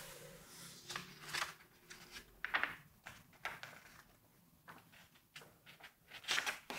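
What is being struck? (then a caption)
Glossy paper magazine pages. Fingertips turn a page of a large, open September 1986 Vogue magazine with glossy paper pages, then rub and smooth the page flat. The sound is a run of crisp, bright paper swishes and crinkles with soft rubbing in between, each short burst fading almost instantly.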